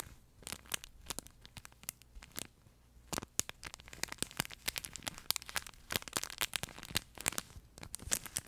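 Both hands pinch, squeeze and scratch with their fingertips at the flat fabric body of a yellow plush pet toy with a crinkle insert. Dense, bright crinkling and crackling come in quick, dry bursts, sparse and soft for the first few seconds, then busier and louder.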